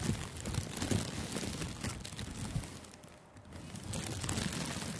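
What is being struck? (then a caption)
Thin clear plastic gift wrap film. Fingertips squeeze and crumple thin, clear, crinkly cellophane-like plastic gift wrap loosely covering a furry-windscreened microphone outdoors. A dense, close crinkling crackle with bright rustle and soft low thumps from the handling continues throughout. It briefly eases near the three-second mark before picking back up.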